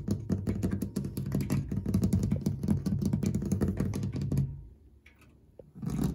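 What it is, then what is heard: Metal clock dial tapped and scratched. A fingertip with a short nail taps and scratches quickly and repetitively on a brushed metal clock dial and its gilt-framed white enamel numeral plaques. The result is a dense run of short, low, dull clicks and scrapes with a brief quiet pause near the end before the tapping resumes.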